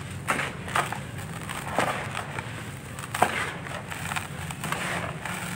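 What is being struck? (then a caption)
Sandy clay lumps crushed by hand. Bare hands crush and crumble dry sandy clay chunks in a red plastic basin, breaking them into dusty grains. Dry, gritty crunches and sharp cracks come in uneven bursts over a steady rustling crumble, with the brightest snaps standing out near the start and middle.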